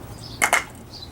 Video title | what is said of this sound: Bio-mass fuel for heating, cooking, etc. | almost sounds like wood hitting the floor